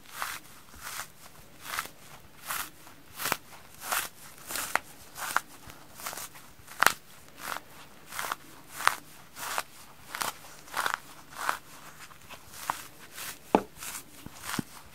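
A hand-sized, rainbow-striped polyurethane foam kitchen sponge of solid porous foam, frozen, is held in both hands with long painted nails and squeezed and bent by the fingertips and palms. It gives a steady rhythm of short, crunchy crackling bursts, bright and gritty, with a few sharper snaps standing out among them.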